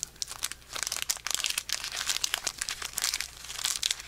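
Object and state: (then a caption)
Foil card pack wrapper being crinkled and torn. Fingertips crinkle, bend and tear the metallic foil wrapper of a small, sealed Pokémon booster pack holding cards, held in both hands. The result is a dense run of bright, sharp crackles and crisp crinkling bursts with almost no low end, each snap dying away almost instantly.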